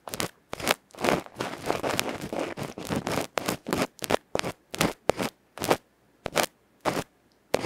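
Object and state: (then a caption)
Metal microphone capsule scratched with ear pick. A bamboo ear pick scratches slowly across a small, hollow aluminium electret microphone capsule with a black felt face, held in the fingertips. The result is loud, close, rasping scratch strokes with a dense stretch of continuous scraping in the middle. Each stroke carries a bright, crackly texture and stops dry with no ring.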